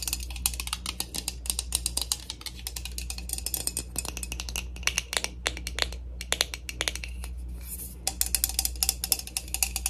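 A plastic spray bottle of heat protectant mist is tapped and rubbed with rapid, crisp clicks that ring only briefly, with soft rubbing between them. The taps are bright and dry, mostly in the high range, over a steady low hum.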